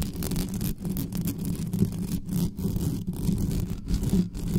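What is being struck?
Metal mesh microphone grille.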